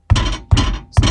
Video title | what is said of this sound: Стучит сзади в балке . Ланос. | Наконец-то нашел звонкий стук в задней балке Ланос